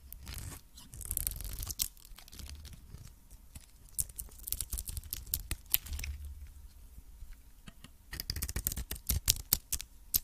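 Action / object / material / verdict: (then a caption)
scrape / varnished soap bar scraped with a metal blade / soap / none. A metal blade scrapes across the dark varnished face and edges of a solid soap cube, producing dry, crisp scratching and tearing sounds. Bright, sharp ticks and rasps come in bursts over a soft low rumble, with quieter pauses between passes.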